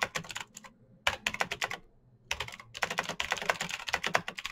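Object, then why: Plastic mechanical keyboard. Fast fingertip typing by both hands on a black plastic mechanical keyboard with green clicky switches and RGB lighting. Bright, sharp clicks come in quick bursts, broken by short pauses near the start and middle before a longer steady run.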